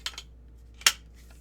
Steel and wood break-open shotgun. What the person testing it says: really tight no playing the gun whatsoever shake it you can twist it nothing gives nothing rattles except for that